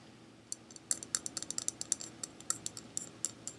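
A small, hollow, empty pink plastic bowl-shaped container is held in one hand and tapped with fingertips and nails. After half a second of quiet, 21 quick, crisp, bright clicks follow in an irregular rhythm, each dying away almost instantly.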